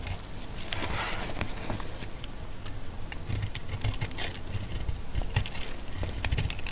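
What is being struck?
Bar of soap cut with a metal blade.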